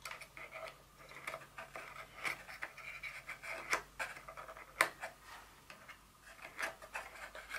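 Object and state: Cardboard box insert tapped and scratched.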